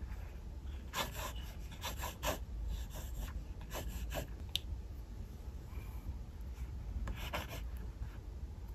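A mechanical pencil draws lines across the white paper page of an open paper sketchbook with light, scratching strokes. Short bursts of dry, bright scraping come and go in irregular clusters over a steady low hum.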